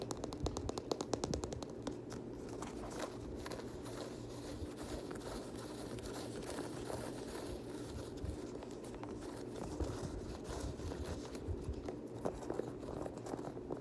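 A black Nike Air Max Plus sneaker, a hollow shoe with a synthetic mesh upper and plastic TPU cage overlays, is scratched and tapped by fingertips with short nails. Quick crinkly scratches and soft, dull taps blend into a steady, close rustle. Brief clicks stand out now and then over a low hum.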